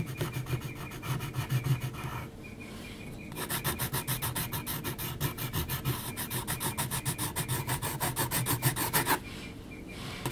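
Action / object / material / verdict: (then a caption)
scrape / graphite pencil on a sheet of heavy textured paper / paper / none. A graphite pencil held at a low angle is rubbed and scratched across a large flat sheet of heavy textured mixed-media paper, producing a dry, rasping scratch with a low hum underneath. Rapid back-and-forth strokes run through most of the clip, pausing briefly into softer, quieter stretches near 2.5 seconds and after 9 seconds.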